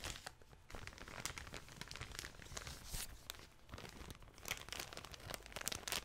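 A small clear plastic bag holding a soft pink object is held in both hands and squeezed and crinkled with fingertips and long nails. Dense, bright crackling rustles come in quick bursts with no ring, rising and falling in loudness over the clip.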